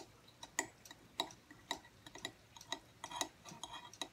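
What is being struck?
Aluminum tablet stand plate.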